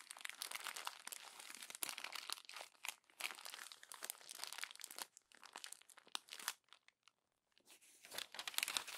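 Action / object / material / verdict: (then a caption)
scrape / glossy paper magazine pages / paper / none. Fingers with long nails crumple the thin pages of a glossy paper magazine. The result is dense, bright crinkling and crackling with almost no low end, coming in bursts with a near-silent pause around seven seconds before it resumes.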